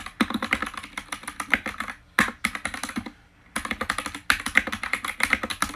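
Fingertips type fast on the white plastic keycaps of an RGB-lit mechanical keyboard, heard close up. Bright, clicky keystrokes come in quick runs that stop briefly twice, each strike crisp and short with almost no low end.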